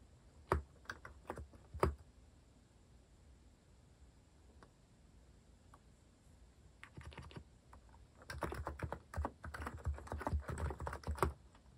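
A compact white-case Hanmumu mechanical keyboard with cream and orange cat-themed plastic keycaps, resting on a wooden desk, is typed with the fingertips. A few scattered key taps open the clip, followed by a quiet pause, then bursts of rapid, continuous typing. The keystrokes are short, deep-toned clacks and thocks.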